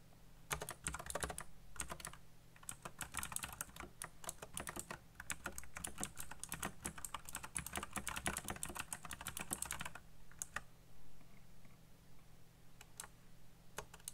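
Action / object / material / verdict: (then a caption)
tap / plastic mechanical keyboard / plastic / none. Fingertips type fast on a backlit black plastic mechanical keyboard with RGB lighting and hollow key switches. Dense, bright, clicky key taps run steadily for about ten seconds, then thin out to a few scattered taps. A low steady hum sits underneath throughout.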